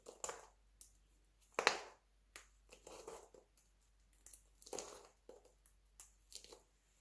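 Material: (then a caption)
Soap. Fingertips and nails snap and crumble thin, brittle pieces from a pile of pale yellow dry soap flakes. The result is a quiet series of short, dry, crisp crunches and crackles, each bright and fading almost instantly, with near-silent gaps between them.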